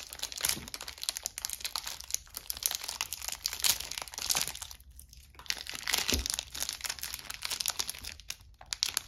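A palm-sized green-and-white striped soap bar, still sealed in clear plastic film, is held in both hands while long pink-painted nails and fingertips rub, scratch and squeeze the wrapper. Dense, bright crinkling and scratchy crackles run almost continuously, with a brief quieter lull around the middle before the crinkling picks back up.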